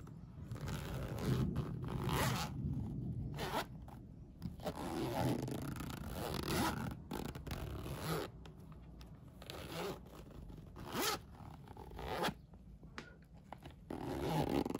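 A hand repeatedly pulls the yellow plastic coil zipper of a polyester Minion fabric pencil case open and closed, close up. Each pull makes a raspy, rattling zip with a low, heavy body and brief quiet pauses between strokes.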